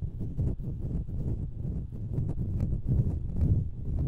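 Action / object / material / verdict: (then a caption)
scrape / metal mesh microphone grille / metal mesh / none. Long nails scratch the hollow metal mesh grilles of two identical stereo microphones. The result is a dense, muffled scraping and rubbing made of quick, irregular bursts, heavy in low rumble with almost no bright content.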